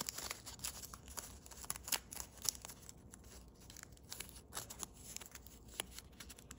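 A sheet of thin holographic blue foil origami paper, partly folded into a crane base, is held in both hands and folded and pressed along its creases with fingertips and thumbnails. It gives off quiet, bright crinkling with many sharp, dry crackles and snaps that die away instantly, louder in the first half and softer later, with very little low end.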